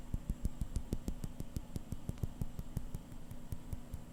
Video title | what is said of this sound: ASMR - Seiko SBDC053 Watch Sounds (Whispers, Tapping, Scratching, and Turning) | I'm surprised it's actually a really dense crystal sound.